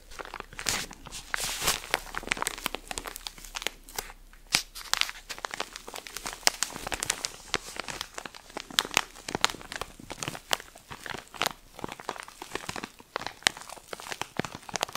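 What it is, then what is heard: Plastic-wrapped pack of cotton pads. A soft cylindrical pack of cotton pads wrapped in crinkly plastic film is held beside the mic while fingers squeeze and scratch the wrapping. The result is a steady stream of bright, dense crinkling and crackling, with sharp snaps throughout and very little low end.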